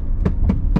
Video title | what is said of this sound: ESSAI PEUGEOT 2008 1.2 Allure Puretech 82CV 2013 | en bas et en haut c'est c'est vraiment pas terrible ça sonne très creux